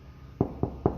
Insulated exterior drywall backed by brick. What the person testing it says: the brick behind this one, and it's stuffed full of insulation, there's no change in the sound